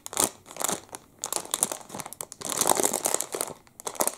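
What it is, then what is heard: Plastic wrapper crinkling. A clear, crinkly plastic wrapper around a full, hand-sized Double Chocolate muffin is crinkled and rubbed between the fingertips of both hands. Dense, bright crackling bursts come in rapid irregular clusters with almost no low end and brief quiet gaps between them.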